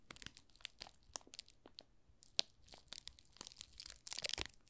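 Fingers squeeze and rub the thin plastic film wrapped around a small solid pink rose soap bar with a paper label on the back. The film gives a string of quiet, bright crinkles and crackles with very little low end. A louder burst of crinkling comes near the end.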